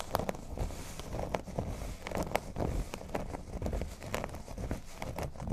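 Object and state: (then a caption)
Cork board. Fingernails scratch and tap across a flat, thin, solid cork board resting on a table. The result is a dry, crinkly scratching texture broken by soft, short taps at an irregular pace, with most of the energy sitting in a low, muffled range.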